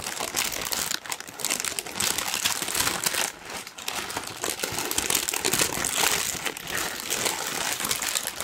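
A large, thin pink tissue paper sheet is crumpled with the fingertips, giving a dense, continuous crinkling that is bright and crisp with almost no low end. The rustle eases briefly around one second and again near three and a half seconds before picking back up.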